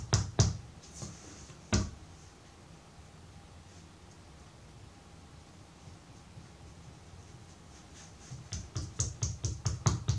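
Fingertips and a palm tap and pat the faces of a solid, soft purple-brown block of colored pottery clay on a wooden table as it is turned upright and shaped into a rectangular bar. A few dull, low thuds with a light bright slap come first, followed by a long quiet stretch of faint handling. The clip ends with a quicker run of pats.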